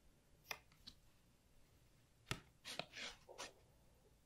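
A capped black pen, and later a fingertip, is rubbed and traced along the letter Zz on a small, thin, flat white cardstock alphabet flashcard held in one hand. The result is a series of short, bright, dry scratches and brushes of the paper surface, separated by quiet gaps.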